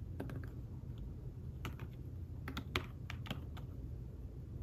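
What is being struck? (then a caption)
Fabric-covered tablet keyboard. Fingertips tap the keys of a thin fabric-covered tablet keyboard case while typing, giving soft, muffled clicks that come irregularly over a steady low rumble. Each tap is short and dry, dying away almost at once.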